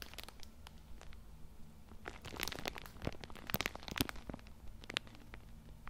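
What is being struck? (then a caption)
Plastic film wrapping on a tissue multipack. A full Cool Mint tissue multipack wrapped in plastic film is held in one hand beside the mic while fingers rub and squeeze the plastic. This produces a continuous stream of bright, dry crinkles and sharp crackles with a few louder bursts. A steady low hum sits underneath.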